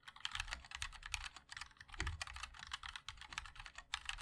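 Continuous typing on a 60% mechanical keyboard with a black aluminium case, white and black ABS plastic keycaps and linear switches, struck by the fingertips of both hands. Quick, dry clacks land in a steady stream with almost no ring, bright in tone over a low thud from the case.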